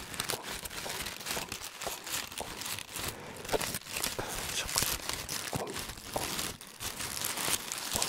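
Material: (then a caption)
Paper. A fist-sized, hollow, loosely packed ball of crumpled white paper is held in both hands beside the head and squeezed and crinkled with the fingers. It makes a steady, dense stream of bright, crisp crackles and rustles with little low end, rising and falling in intensity throughout.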